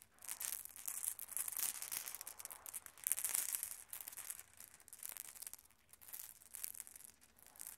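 Small solid glass marbles scattered on a red carpet are swept and gathered by open hands, so they knock together. The result is a dense run of quiet, bright, high-pitched clicks and rolling rattle in uneven bursts, each tick dying away almost instantly.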